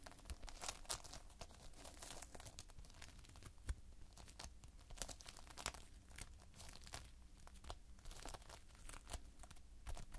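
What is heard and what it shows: Fingertips pinch and press into a flat spread of multicolored Playfoam, foam beads held in a sticky binder. A steady run of quiet, crackly sticking and tearing sounds comes through, with quick bright snaps as the beads pull apart over a low background rumble.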